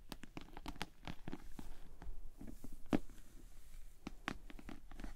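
Long nails and fingertips tap and scratch the top, sides and front of a hollow pink glossy PVC cosmetic bag with a bow, standing upright on a table. A quiet, rapid, irregular run of dull, low-heavy taps with brief crisp clicks and soft scraping between them, each one dying away almost instantly.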